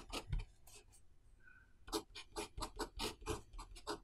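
A pen writes characters on the page of an open paper notebook on a desk while the other hand holds the page down. Short, bright, scratchy strokes of the nib on paper come in quick bursts, with a quieter pause early on before a steady run of strokes.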